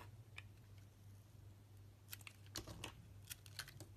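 A utility knife blade shaves thin slices off a solid red translucent glycerin soap bar held in both hands. Quiet, irregular, crisp bright scraping clicks come in short bursts, bunched mostly in the second half, over a steady low hum. Each cut is brief and dry, with almost no ring.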